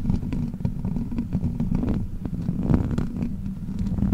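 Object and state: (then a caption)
Metal microphone grille being scratched. Long black plastic witch-finger claws scratch across the hollow metal mesh grille of a large silver microphone. The result is a steady, dense, low rumbling scrape with quick scratchy ticks layered through it, and almost no bright top end.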